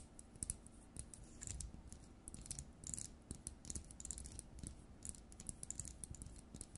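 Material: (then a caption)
Plastic. Long nails tap and scratch the frosted plastic dome and metal-based housing of an LED light bulb. Quiet, dry clicks and scrapes come in quick, irregular bursts, with bright ticks over a soft low thud. Each hit dies away almost instantly with no ring.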